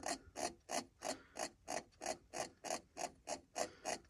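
Fingertips scratch a car's hard plastic center console radio and climate panel, with its round knob and buttons, and grip and turn the knob. Thirteen evenly spaced, dry scratchy bursts come at about three per second, each with a hollow midrange tone and a bright ratchet-like rasp that stops almost at once.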